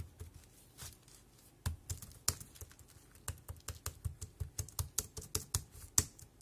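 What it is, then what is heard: Plastic keyboard keys being typed. Fingertips tap the round keys of a dark grey compact plastic wireless keyboard at a slow, uneven pace. Each press gives a short, dry click with a bright high edge and a soft low thump. The taps are quiet at first and grow into a steadier run of distinct keystrokes.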